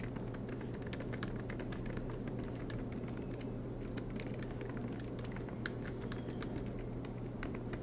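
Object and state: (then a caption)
Laptop keyboard being typed on. Both hands type continuously with fingertips on a silver MacBook Pro keyboard with black plastic keycaps on an aluminum body, lying flat on a desk mat. Quick, light key clicks come as sharp bright ticks over a steady low hum. The typing runs unbroken through the clip at an even, soft level.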